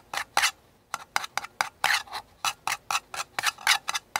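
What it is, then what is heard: Paper cup. Painted fingernails and fingertips tap and scratch the outer wall of a small, empty, hollow paper cup printed white with blue flowers, held tilted in one hand. About fifteen short, dry, bright scraping bursts with no low end follow one another, each dying away almost instantly.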